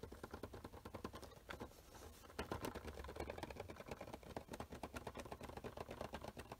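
A small rectangular printed cardboard Funko Pop box (Luke Skywalker) with a clear plastic front window and a vinyl figure inside is held in both hands and tapped rapidly with the fingertips and short nails. The result is a dense, fast stream of short, dull, hollow taps and light clicks over a low, steady hum.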